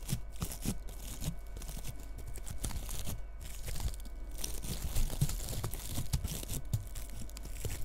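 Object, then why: Bristle bottle-brush tree. A long red fingernail scratches the bristly surface of a small frosted bottle-brush Christmas tree decorated with bead ornaments. The result is a continuous dry, crackling rustle with many fine scratchy ticks, crisp and bright on top over a low rumble.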